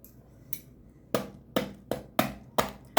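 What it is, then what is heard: Crisp baked filo börek crust. Someone taps the crust of a hot baked potato börek made from ready-made filo dough, giving seven sharp, crackly taps, the first one faint. Each tap is a bright, dry crunch that dies away almost at once, showing the crust is crisp.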